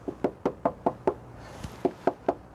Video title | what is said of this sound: How to Reduce Tyre Noise Inside YOUR Car | on the other wheel Arch where I haven't put any extra material yet you can hear how hollow and tinny that sounds